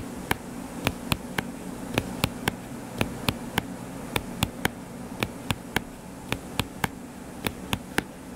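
Fingertips tap quickly on the cover of a closed hardcover paper book lying flat and solid, giving 22 short, dry, bright clicks in loose bursts of two or three. Each tap dies away almost instantly over a steady low hum and soft background hiss.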